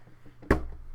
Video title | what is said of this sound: Hauls To The Wall! - Watching Joaq In Walk The Line While Eating Guac | Now it sounds empty as hell, but that's because I took the discs out.